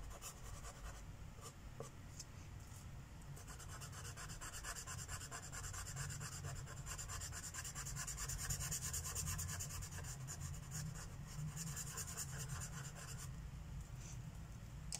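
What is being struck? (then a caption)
Thin paper page on a wooden table, rubbed with a felt-tip marker. A felt-tip Sharpie marker is rubbed in quick strokes across a thin paper coloring book page resting on a wooden table, filling in the petals of a mandala. The result is a steady, soft, scratchy rubbing with bright hiss, fast irregular stroke patterns and a low background rumble, swelling slightly in the middle.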